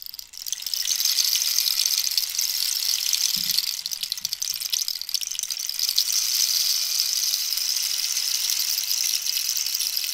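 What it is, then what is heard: Wooden cactus rainstick. A long, hollow wooden rainstick made from dried cactus, with a rainbow-banded end, is held upright and tilted so its inner filling rattles down, while long nails rest on and tap its surface. A bright, steady rain-like patter swells in within the first second and continues evenly to the end. A few soft, low taps sound around the middle.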